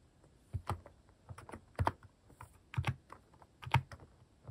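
Fingertips type sparse, irregular key presses on a plastic mechanical keyboard fitted with cat-shaped plastic keycaps. Each press is a short, dull, low clack with a brief bright click on top, and they come in uneven clusters with quiet gaps between them.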